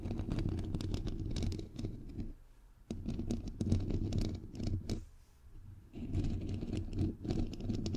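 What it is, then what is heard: Metal mesh microphone grille, scratched and tapped. Long nails tap and scratch around the bare, hollow head of a white metal mesh microphone grille. The result is a dense, close, low-heavy rumbling crackle of scrapes and quick taps, with quieter pauses near 2.5 and 5.5 seconds before the scratching picks up again.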